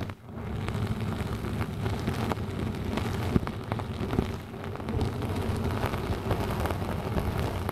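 A round yellow synthetic mesh sponge with a hanging loop, draped over a microphone, is scratched with long nails and rubbed with fingertips. It makes a dense, steady, low-heavy crackling rustle with scattered sharper ticks and a brief dip in level partway through.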